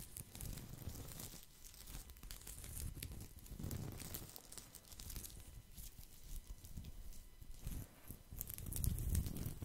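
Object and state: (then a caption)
Woven straw placemat. Fingertips and nails scratch and rub the woven surface of a thin, round, flat straw or rattan placemat held up to the microphone. The result is a steady, fast, uneven crackling and rustling with bright, dry scratchy texture over a heavy low rumble and soft thumps. The sound swells louder toward the end.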